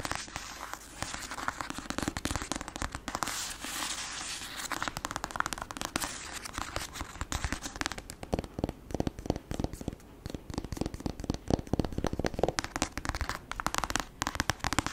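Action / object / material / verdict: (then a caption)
tap / paperback book with glossy card cover / paper / none. A black paperback book with a glossy printed card cover and a solid paper block is held upright while long acrylic nails rapidly tap and scratch its cover. Through the first half, dense crackling scratches run almost continuously. After that, sharp, dry taps come in quick bursts with short gaps between them, and every tap stops instantly without any ring.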